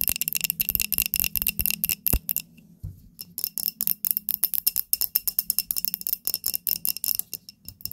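A small glass candle holder filled with pink wax is held and tapped rapidly with long nails, making dozens of quick, bright, high clicks with a faint glassy ring. After a brief pause and a soft low knock, the rapid tapping resumes, and the holder is set back on the table.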